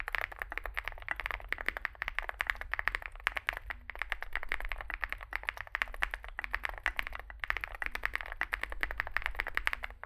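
A compact 65% Zoom65 mechanical keyboard with a metal (aluminium) case, foam filling, lubed switches and SA plastic keycaps sits on a desk mat while both hands type continuously with their fingertips. The result is a fast, steady stream of short, dry clicks and clacks, centred in the upper midrange with a low hum underneath.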